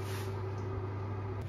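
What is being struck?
Nothing is struck.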